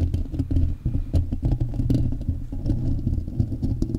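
Fingertips and short nails of both hands tap and scratch directly on the hollow, rounded metal mesh grille of a large silver USB microphone. The result is a steady flurry of quick, close-up taps and scratches that sound deep and boomy, with a low hum around 105 Hz and almost no bright or high sound.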